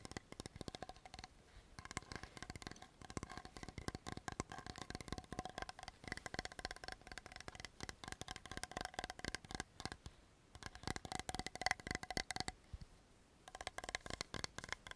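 A medium blue translucent plastic Laneige toner bottle with a silver-blue cap, hollow and partly filled with liquid, is held upright and tapped quickly with long fingernails. The result is a dense stream of sharp, dry clicks with very short ring and a bright ticking tone around 2 kHz. The tapping runs almost continuously, with a few brief pauses.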